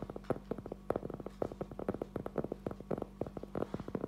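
A solid, round, flat cork trivet about 20 cm across is held upright in both hands and tapped and scratched with fingertips and short nails. The result is a quick, uneven run of about 28 soft, dull, hollow-sounding taps centered in the midrange, each dying out almost instantly with no bright edge, over a faint steady low hum.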